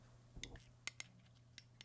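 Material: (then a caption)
Caramelized sugar. A spoon cracks the hardened caramel top of a crème brûlée, and the crisp crust is intact as it should be. Six short, bright cracks and taps stand apart over a low steady hum. Each one dies away almost at once.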